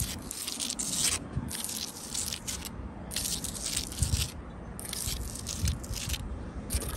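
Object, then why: Sandstone block wall with mortar. Long blue acrylic nails scratch across a solid wall of rough sandstone blocks set in grey mortar, with the hand held flat against the wall as they cross the stone and joints. Repeated strokes produce bursts of bright, gritty scraping over a low, rumbling bed of soft knocks and crackle.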